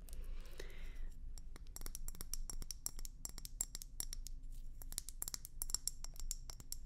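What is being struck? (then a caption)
Hand-blown glass hummingbird feeder. Long nails tap and scratch a hollow, hand-sized, bulbous hand-blown glass hummingbird feeder with red and white swirls. A rapid series of sharp, dry clicks and brief scrapes follows, with faint, high, glassy pings that die away almost instantly. A steady low rumble sits underneath throughout.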